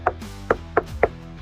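Four knocks on the painted SMC hull of a Yamaha FX SVHO WaveRunner during a knock test give short, dull, mid-pitched thuds that die away almost instantly. The hull sounds solid, comparable to the fiberglass and gel coat hull of the Kawasaki Ultra 310 it is being compared with.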